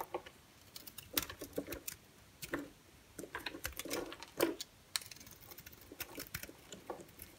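A palm-sized solid white bar of soap, held in one hand, is carved and scraped with a green utility-knife blade, with shavings falling away. The result is a quiet, irregular run of short, crisp scraping and cutting strokes with bright, crackly edges and little low end.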